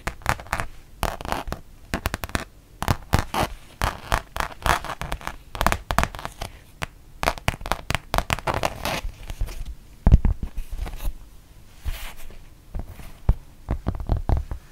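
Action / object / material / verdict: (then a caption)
scrape / rubber-backed fabric mouse pad / rubber / none. Long painted nails tap and scratch across the black textured rubber back of a thin, solid printed fabric mouse pad that has been turned over. Quick, dull clicks and rough scraping come in dense, uneven bursts, mostly low and muffled with a little bright crackle. Each tap dies away almost instantly, and one sharper hit stands out near the middle.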